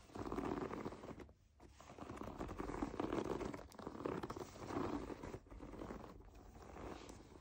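Long painted nails and fingertips tap and scratch the surface of a medium-size, soft, padded foam bath pillow covered in white bubble-textured plastic, lying flat. Continuous soft crinkling and scraping rustles come with brief lulls, concentrated in the low-mid range with little bright content.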